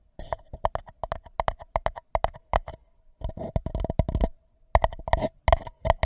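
Fingertips tap and scratch the outer wall of an empty white paper cup placed over a microphone, making quick, irregular hollow knocks with a resonant ring around 670 Hz. Short bursts of brushing scratches mix with the taps, with brief pauses between flurries.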